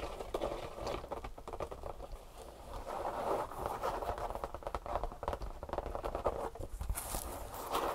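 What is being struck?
Leather handbag.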